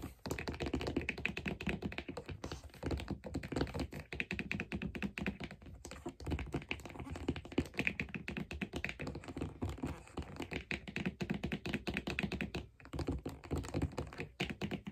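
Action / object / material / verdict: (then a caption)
tap / leather figure skate sole with metal blade plate / leather, metal / none. Long nails tap rapidly on the brown leather sole and metal mounting plate of a figure skate lying upside down in a blue plastic blade guard on a table. The result is a dense, continuous stream of short, dry taps and soft thunks that stop almost instantly, with occasional brief pauses.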